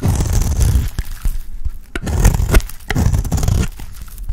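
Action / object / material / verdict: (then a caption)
scrape / bar of soap scraped with a knife blade / soap / none. A small metal knife blade scrapes and shaves curls off the face of a round, cream-coloured, palm-sized bar of dry soap held in one hand. The strokes give low, dry, crumbly scraping bursts separated by brief pauses.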